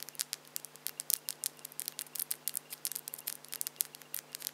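Long French-tip plastic (acrylic) false nails on both hands are tapped and clicked against each other with the fingertips held close together, with no other object involved. The result is a rapid, irregular stream of sharp, bright, dry clicks with almost no ring, over a faint steady low hum.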